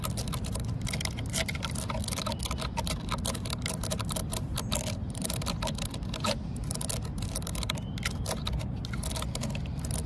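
Long nails and fingertips scratch and rub along the rough vertical grain of a solid, weathered, cracked wooden post outdoors. Dense, dry scratching clicks and crackles run continuously at a steady, quiet level over a constant low rumble, with no clear pauses between strokes.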